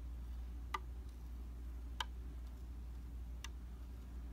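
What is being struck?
Glass vanity mirror.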